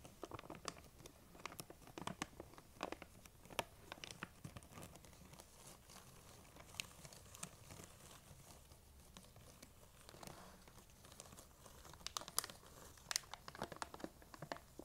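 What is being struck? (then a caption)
Plastic candy bag. Long nails scratch and squeeze a large, printed plastic M&M's candy bag that appears full, crinkling it. The result is quiet, bright crinkling and rustling broken by sharp, dry ticks and snaps at an irregular pace. The snaps cut off at once with no ring.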